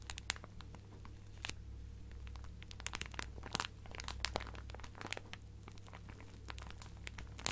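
A clear plastic zip-lock bag full of fabric scraps is squeezed and crinkled by fingertips and nails, giving dense bright crackles and sharp clicks over a steady low hum. The crinkling runs throughout at a quiet level, with a few louder snaps standing out.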